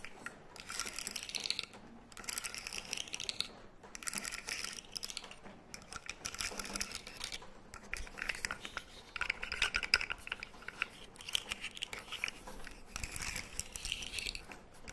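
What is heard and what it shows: A blue, segmented, hollow plastic slug fidget toy about 20 cm long is held by the head and dangled, then shaken and flexed by hand so its segments click. The result is bursts of rapid, bright, crackly clicking and rattling, separated by short pauses.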